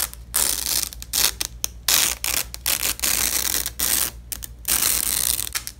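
A gloved hand pulls apart the halves of a purple nylon hook-and-loop strip resting on red cloth. Each pull makes a bright, ratcheting rip in irregular bursts separated by brief pauses, over a faint steady low hum.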